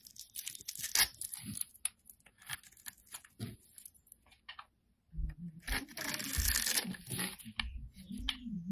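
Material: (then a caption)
Soap. A solid oval beige bar of soap, held in the hand, is scored and carved into small cubes with a metal blade. Crisp, bright scraping and crunchy cutting sounds tick along, then a brief pause. A denser stretch of crumbling, tearing crunches follows.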